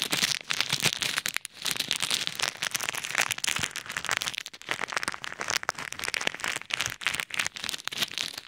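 Fingertips knead and rub a clear plastic bag full of pink and white plastic pearl beads over an ear microphone. The result is a dense, bright crinkling and rattling crackle of beads shifting inside the plastic, with almost no low end. It runs nearly continuously, with brief dips around 1.5 and 4.5 seconds.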